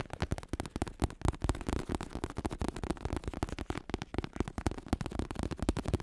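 A black vinyl-covered bicycle saddle with red trim, synthetic leather over a padded plastic shell, is held in both hands while fingertips tap and lightly scratch its curved top and hollow underside. The result is a quiet, rapid run of soft, dull, low thumps with very short decay, interspersed with faint scratching and almost no bright content.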